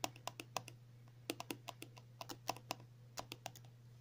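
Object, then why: Soft plastic cream tube. Long natural nails tap and scratch a filled 50 ml pink and white soft plastic cream tube lying on a table. About twenty quick, dry, sharp clicks come in uneven bursts, with bright edges and almost no ring, over a faint steady low hum.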